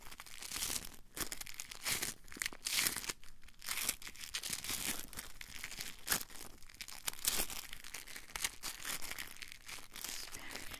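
A small, soft blue foam piece held in both hands is squeezed and rubbed with fingertips and short nails. The result is a steady run of quiet, dry crinkling and scratchy rustles. Bright, hissy bursts come and go with each squeeze and rub.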